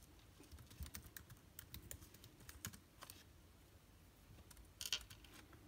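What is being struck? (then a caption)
Plastic laptop keyboard keys. Fingertips type slowly on a backlit MacBook Air keyboard with plastic keys, with some rustle in between. The quiet, bright clicks are short and crisp and come at an uneven pace, with a louder cluster of taps near the end.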